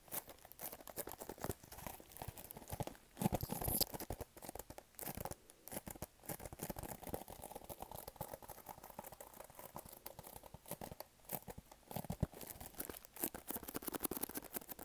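Fingernails scratch and tap on a small, hollow, pink printed cardboard product box held close to the mic. Dense, rapid papery scratching and crinkling mixes with soft, quick taps. The sound has a low, hollow body and little high-end hiss, with a few louder bursts.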